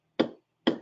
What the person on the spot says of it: the sound of tile changes when it it loses it its adhesion to the substrate it sounds Hollow